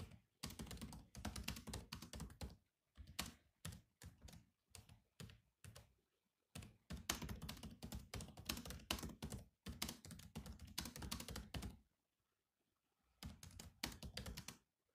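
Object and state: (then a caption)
Laptop keyboard with plastic keys. Fingertips type steadily on the black plastic keys of a silver laptop keyboard, producing quick, dense bursts of clicky taps with a low thud under each press and bright key clatter on top. The typing comes in runs separated by brief pauses and one longer silence near the end before it resumes.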